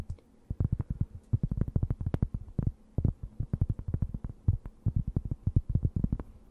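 A thin, round, solid and flat cork board held close to the mic is scratched with long nails. A rapid, uneven run of short, dull scratching strokes comes through as deep, muffled thumps with almost no high end, and each stroke stops dead without ringing.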